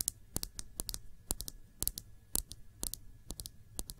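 A small Sephora glass nail polish bottle with a black cap, filled with dark polish, is held upright and tapped with long nails. About twenty quick, bright, clicky taps come at an uneven pace, each dying away almost instantly, over a faint low background rumble.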